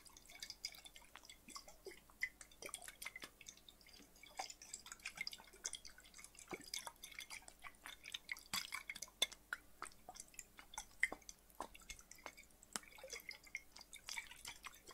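A small, clear, hollow glass bottle, partly filled with water, is held in one hand, tilted and shaken so the water moves while fingertips tap and touch the glass. Quiet, bright, drip-like clicks and light liquid sloshes come in a rapid, irregular stream, each dying away almost at once with little low end.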